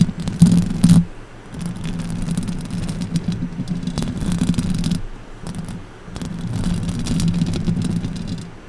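Long orange acrylic nails scratch the hollow metal mesh grille of a silver condenser microphone with both hands. The result is a dense, low, rumbling scrape centered around 172 Hz, with sharp, bright crackling bursts near the start. It then settles into steady waves of scratching that swell and fade.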